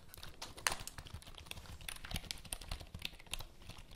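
Long nails tap and scratch across the keys of a black plastic full-size computer keyboard held vertically. The result is a quiet, steady run of short, dry, bright clicks mixed with soft scraping, each tap dying away almost instantly, with one sharper click standing out early on.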